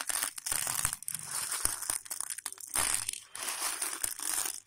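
Fingertips of both hands rub, press and stir a large heap of hard, dry raw elbow macaroni on a patterned plate. This makes bright, crunchy rustling and crinkling in dense bursts with brief quieter gaps, with sharp clicks of the small hollow tubes knocking together.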